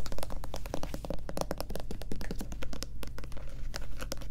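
Long nails rapidly tap and scratch the back label and bottom of a white plastic Lubriderm lotion bottle as it is held at different angles. The result is a quick, uneven run of dry, bright clicks and scrapes over a steady low hum.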